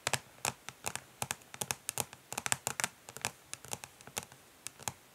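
Long nails on both hands tap fast, like typing, on the back of a flat, rectangular, hollow plastic eyeshadow palette lying face down on a grey surface. About 27 quick, separate taps are heard, each a sharp, bright, hollow plastic click that dies away almost instantly with little low end.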